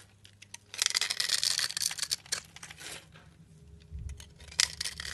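A solid black bar of soap held in hand has its scored surface scraped with a blade, crumbling off shavings. Bright, crisp scratching and crackling builds into a dense burst for about a second and a half, then thins to softer scrapes before one more sharp crunch near the end.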